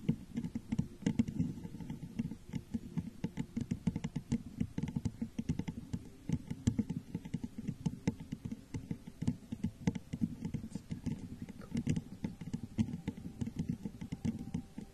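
Long nails tap rapidly on the sides of a clear, crackle-textured, hollow, empty glass jar set over a microphone. The result is a dense, continuous patter of quick, dry clicks with a muffled, low-mid body and almost no ring, rising and falling slightly in loudness throughout.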